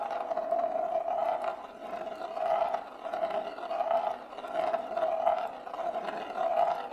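A single glass marble rolls around and scrapes along the inside of a large, shallow, hollow bamboo plate with spiral grain, held empty and level in both hands. The sound is a steady rolling rumble with a hollow mid tone that swells and fades in repeating waves as the marble circles the plate.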